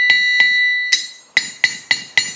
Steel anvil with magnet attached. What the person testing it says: if I add a magnet there, as you can see, really quietens it down